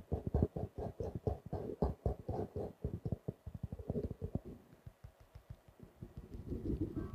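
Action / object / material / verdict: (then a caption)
tap / faux leather notebook cover / faux leather / none. A small, closed notebook with a grey-blue faux leather cover and stitched edges is held upright and tapped and scratched with fingertips and nails. A quick run of about 33 soft, dull, low thuds with no ring fades into lighter, quieter taps. It ends in a soft scratching rustle.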